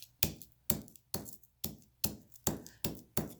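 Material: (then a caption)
Aluminum. A hammer strikes a piece of aluminum metal eight times in a steady rhythm. Each blow is a sharp, dull, non-ringing knock that fades quickly. The aluminum flattens into a sheet instead of breaking, showing it is malleable.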